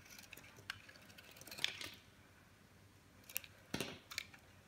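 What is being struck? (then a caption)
Bar of soap shaved with a blade. A metal blade shaves crumbly slices off a dry, solid cream-colored bar of soap with a colored coating, held in the hand. Soft, bright, crisp scraping and crackling comes in short bursts: a cluster near the middle and another toward the end, with quiet pauses between.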